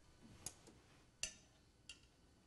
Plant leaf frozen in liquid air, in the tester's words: vous entendez le même craquement